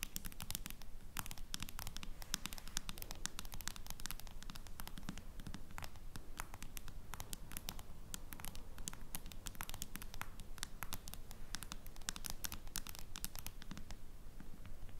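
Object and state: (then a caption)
Smartphone in plastic case tapped with nails. Long nails tap quickly on a smartphone in a clear plastic case lying flat. They make a dense, steady stream of sharp, bright clicks with no ring, over a faint low rumble, at a fairly even level for the whole clip.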